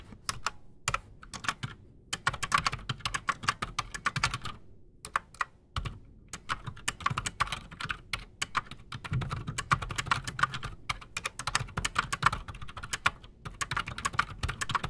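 Both hands type fast with their fingertips on a solid, full-size black Redragon Shrapnel K589 mechanical keyboard resting on a desk, fitted with Outemu Silent Sky silent switches and Razer PBT plastic keycaps. A dense, uneven stream of short, dry keystrokes is heard, each a muted clack with a soft low thud beneath a brighter tap, pausing briefly before continuing in rapid bursts.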